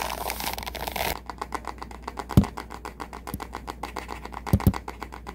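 Fingertips and nails scratch and rake across the dense dark, light-tipped plastic bristles of a wooden-handled hairbrush, with some handling of the wooden handle. A second of steady, bright rustling gives way to a rapid train of dry, crisp ticks, broken by three louder low knocks.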